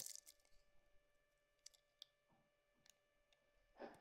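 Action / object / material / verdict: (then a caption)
scrape / bar of soap cut with a small metal blade / soap / none. A small metal blade carves a solid yellow bar of soap, cutting long peels off its edge. Quiet, bright, crisp scraping and crunching are broken by a few sharp little clicks over a faint steady hum. A louder, fuller scrape comes at the end.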